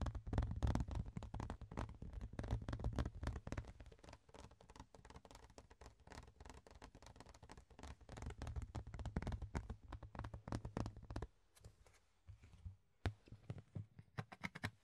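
Fingertips and nails tap and scratch a large, thin, hollow-backed rectangular clear plastic storage box lid with a ribbed underside, held in both hands. The result is a rapid, uneven patter of short, dull, low thuds mixed with scratchy rasps. The sound thins out after about 11 seconds, leaving scattered sharper taps near the end.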